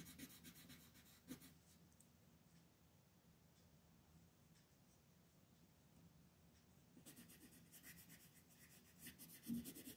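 A teal colored pencil scratches and rubs over small outlined areas of a thin mandala paper coloring sheet resting on a table. Soft, bright scratchy strokes come in bursts at the start and again near the end, with a quieter stretch of faint rubbing in between and a few small taps standing out.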